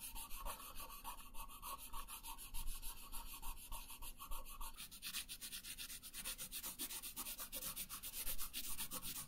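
A pink wooden colored pencil rubs hard across a thin paper sheet resting on a wooden table in fast back-and-forth coloring strokes. The result is a steady, rhythmic scratchy rasp with a bright papery hiss over a low rumble, growing brighter and sharper about halfway through.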